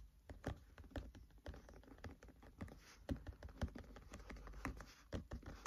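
Fingertips tap quickly on the paper pages of an open paperback book lying flat. The result is a fast, uneven patter of soft, dry taps with a dull low thump, no ringing, and a few louder taps near the end.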